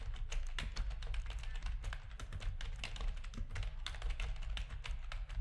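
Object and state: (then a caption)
Plastic computer keyboard being typed on. Fingertips of both hands type steadily on a full-size black plastic RGB-backlit keyboard with a hollow plastic housing, resting on a desk. Quick, bright clacks fall in a dense, uneven stream over a constant low hum, each keystroke dying away almost at once.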